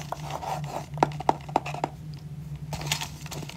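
Fingertips and short nails tap and scratch the lid of a small, hollow, pale-grey rigid cardboard jewellery gift box with a gold "hey happiness" print, held in the hand. Four sharp, dry, hollow taps around 770 Hz stand out evenly among softer scratchy rustles and quick light ticks. A steady low hum runs underneath, and a brighter scratching burst comes near the end.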